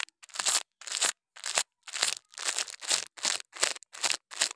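A plastic toothbrush's bristles scrape and brush across a loose orange mound of kinetic sand (moldable sand) on a white surface. After a couple of short ticks come nine separate, bright, hissing scratch strokes with almost no low end and no ring. The soft, granular, not-hollow sand crumbles and spreads.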